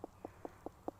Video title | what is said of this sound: Harvest & Cure- Pumpkins and Squash | just give it a quick knock if it sounds Hollow or wooden that is ready to harvest